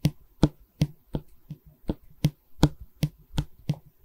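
Long red nails tap and scratch along the face of a long, solid pine stretcher bar from a canvas frame, which is held in both hands. Eleven short, dry taps with low, woody body come at an uneven pace. Quieter scratching sounds fill the gaps between them.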